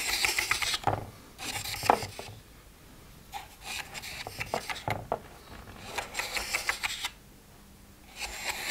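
Fingertips and nails scratch and rub across the lids of a plastic weekly pill organizer with its compartments open and empty. Bursts of bright, hissy scratching come with small plastic clicks and taps, separated by quiet pauses.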